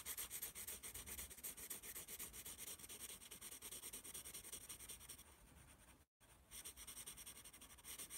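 A yellow pencil draws lines on the page of a small paper notepad held in one palm, its graphite scratching across the paper in quick, bright, rasping strokes. The strokes run in a dense, steady rhythm, soften slightly after about five seconds, and stop for a brief moment of silence before resuming.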